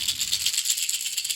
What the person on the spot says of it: it's got a lot of little BBs so it gives a different sound